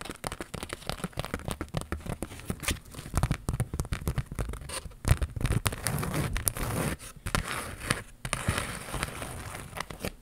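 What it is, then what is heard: Cardboard card with glitter transfers. Long pink nails scratch and tap a flat cardboard retail card, held up, that holds purple glitter star and smiley iron-on transfers. The result is a dense stream of dry, crackly scratches and quick, short taps with a dull low thump underneath, continuing throughout.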